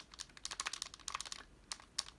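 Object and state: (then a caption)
Tight airsoft pistol, little rattle. A metal KWC Desert Eagle airsoft pistol, magazine removed, is shaken by hand. Only faint, light clicks and ticks are heard, with very little clanking or rattle. This shows it is tightly built.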